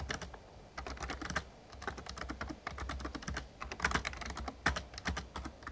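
Fingertips of both hands type rapid key taps on an RGB-backlit plastic Razer Ornata Chroma membrane gaming keyboard with a hollow casing. The result is a quick, uneven stream of short, soft clacks with bright edges that die away almost at once, over a steady low hum.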